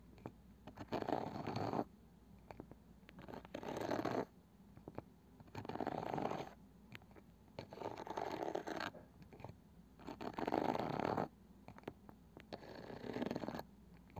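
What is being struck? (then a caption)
Small round wooden box with woven cane side. Long painted nails scratch the light wooden lid of a small round box with a woven cane side that is likely hollow. Six separate bursts of dry, raspy scratching come in a slow, uneven rhythm, centred in the low-mid range with quiet pauses between them.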